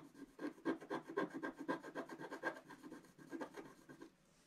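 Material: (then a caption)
Waxed paper. A wooden stylus scratches fine lines into the coating of a black wax-coated scratch-art paper page held flat. A quick, uneven series of soft raspy scratching strokes, about four per second, with most energy in the low mids around 400 Hz and a short airy top, then fades to quiet.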